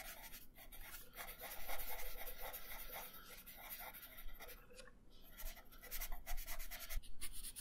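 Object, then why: Wooden colored pencil on a thin paper sheet. A purple wooden colored pencil scratches across a thin paper coloring sheet resting on a wooden table in small coloring strokes. The result is a quiet, steady run of dry, bright rasping scratches that rise and fall irregularly with each stroke.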